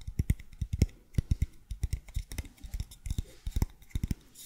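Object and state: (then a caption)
Cardboard tube. Fingertips and nails tap and scratch the side of a long, hollow, empty brown cardboard tube held horizontally near the mic. The result is an irregular run of quick, dull, low thumps that die away almost instantly, with faint, bright scratching between them.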